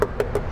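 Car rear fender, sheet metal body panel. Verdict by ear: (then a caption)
Hollow. Three knocks on the rear fender and trunk area of a Citroen C-Elysee / Peugeot 301 sheet metal body panel give short, hollow thuds with a resonant tone around 400 Hz. The panel sounds empty because it lacks sound insulation; it can be reached from inside the trunk to apply insulation.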